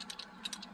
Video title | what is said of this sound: Audi no start after accident (fixed) | when you shake it, it makes there's something loose there, so it makes a noise. It's a loose part.